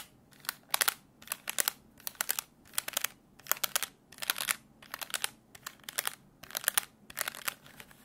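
Fingertips tap and click the plastic keys of a black plastic desk calculator with a hollow case. The sound comes in about a dozen quick bursts of sharp, dry, bright clicks, each burst cutting off at once with no ring and no low rumble.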